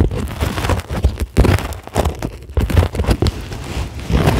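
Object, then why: Polyethylene foam sheet. Long glittery acrylic nails scratch a flat, solid, white closed-cell polyethylene foam sheet. The result is a dense, crackly rustling scrape with a strong low rumble, coming in uneven bursts with brief pauses.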